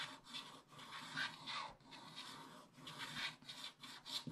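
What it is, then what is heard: Scratch-art paper scratched with a wooden stylus. A wooden stylus scratches long back-and-forth strokes across the top area of a black coated scratch-art paper page in a spiral book. Each stroke is a dry, bright rasp, separated by brief quiet gaps, with little low end.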